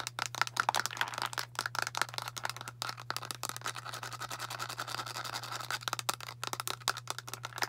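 Long nails tap quickly on a translucent plastic Tums antacid bottle with a blue cap, held sideways and full of tablets, making a dense run of sharp, bright plastic clicks with a faint ringing tone near 1.4 kHz. The tablets may rattle inside, and a steady low hum sits underneath throughout.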